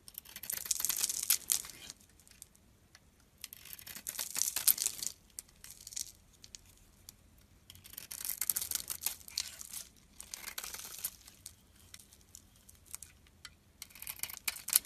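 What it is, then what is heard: Bar of soap being shaved. A solid oval bar of soap with a glittery pink coating and white core is held in the hand and shaved with a metal blade. Quiet, bright, crisp scraping and crumbling sounds come in several bursts of shaving strokes, separated by near-silent pauses.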